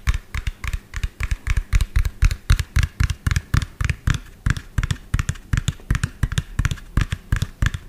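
Fingernails rapidly tap and lightly scratch the cab of a medium lime-green hollow plastic toy dump truck with an empty tipper bed. About 39 quick, uneven taps land roughly three to four per second, each a short, dull, hollow thump with a faint clicky edge that dies away almost instantly.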